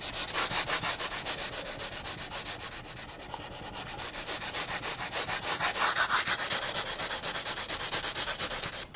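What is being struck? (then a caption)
Pencil graphite on sketchbook paper. A pencil shades the lower counter area of a drawing on a paper sketchbook page, rubbing back and forth in quick, steady strokes at roughly three per second. The sound is a dry, bright, hissy scratch with almost no low end, easing briefly softer about a third of the way through before returning to full strength.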